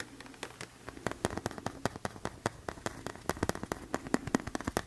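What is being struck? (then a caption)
Thin tempered glass screen protector. A thin, flat tempered glass phone screen protector is held up and tapped with the fingertips and nails. About thirty short, sharp clicks and taps come in an irregular rhythm, each dry and bright with almost no ring, over a faint low hum.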